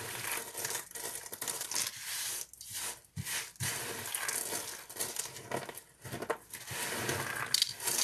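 Thin, dry green soap pieces and flakes are crushed and rubbed between fingers, giving a bright, crisp crackling and crunching with papery tearing textures. The bursts come in uneven clusters with brief quiet gaps over the eight seconds.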